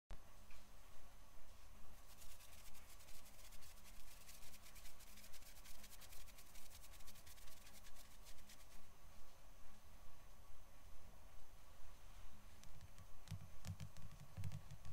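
Fingertips and short nails on both hands tap and scratch the cover of a closed, glossy, magazine-size Heaven & Earth paper mineral catalog, thin and flat, lying on a wooden table. About 17 soft, evenly spaced taps, roughly 140 per minute, form a steady low, dull pulse, while a bright papery scratching rises from about 2 to 9 seconds and returns in short bursts near the end. The whole clip stays quiet and close.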